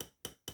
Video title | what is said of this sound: Salter Electronic Mill Set Close Up Review | sounds like glass